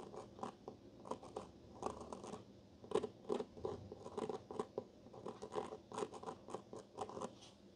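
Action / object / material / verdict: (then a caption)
scrape / cloth-bound hardcover book / cloth / none. The capped tip of a black pen traces and scratches along the embroidered-look vine pattern on the cover of a solid gray and blue cloth-bound hardcover of Wuthering Heights lying flat on a wooden table. The result is a quiet, uneven series of short, dry scratching strokes with a soft mid-range rasp that stops quickly after each stroke.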